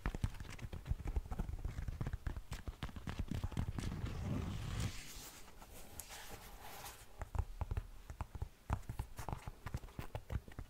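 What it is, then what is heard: Knit fabric sneaker. Long manicured nails scratch and tap the fabric upper of a single black knit textile sneaker with laces, held up hollow and empty in one hand. The result is a dense run of soft, dull, low-heavy taps, with a smoother stretch of continuous scratching in the middle before the quick tapping returns.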